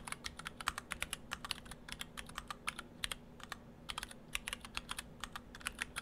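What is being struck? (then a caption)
Mechanical keyboard with PBT plastic keycaps. Fingertips of both hands type on a split ortholinear mechanical keyboard in two halves with clear acrylic cases, white and cyan PBT dye-sub plastic keycaps and Gateron Brown switches. A steady run of quick, crisp, bright clicks and clacks sounds, with each keystroke dying away almost instantly over a faint low hum.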